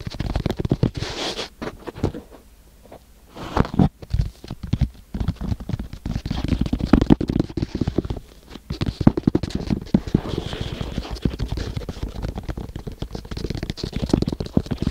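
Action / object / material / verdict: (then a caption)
scrape / kinetic sand in a small wooden box / sand / none. Fingertips of both hands scratch and rub the flat surface of kinetic sand packed into a small wooden box. The result is a dense run of soft, low, grainy scratches and rustles with a brief quiet pause near the start, then steady crackly rubbing to the end.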